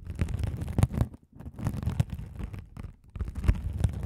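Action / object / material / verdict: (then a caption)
scrape / mesh-covered scouring sponge / sponge mesh / none. A hand-sized blue sponge with a sparkly woven mesh cover, soft and solid, is held over the microphones and scratched by a rolling gold metal spiked roller. The result is a deep, muffled, rumbling scratch made of dense crackly bursts, with brief pauses near the 1.3- and 3-second marks.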